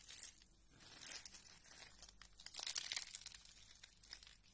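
Fingertips with red nails press and crumble a pile of thin green dry soap flakes on a purple mat. The result is a soft, bright, dry crinkling and crackling that swells and fades in irregular bursts, with a louder crunchy stretch near the end.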